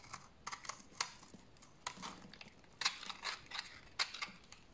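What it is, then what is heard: Dry bar soap being shaved. A large, solid, dried tan bar of soap is held in the hand and shaved with a utility knife blade, producing crunchy flakes. Each stroke gives a short, dry, crisp scraping crunch, bright and high with almost no low end, in a quiet, irregular series over a faint background.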